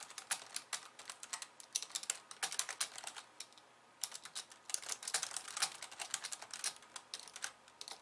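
Fingertips and long painted nails of both hands type fast on a pink low-profile plastic keyboard with white keys resting on a wooden desk. Quick, bright plastic clicks and taps come in dense bursts, with a short quiet pause just before the midpoint before the typing picks up again.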